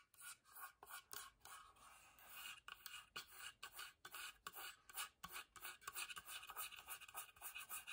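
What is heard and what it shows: Long nails scratch the carved lid of a small, hollow, whitewashed wooden box as it is turned in the hand, then move on to its plain wooden sides. The result is a quiet, bright, dry rasping made of many short scratching strokes with almost no low end.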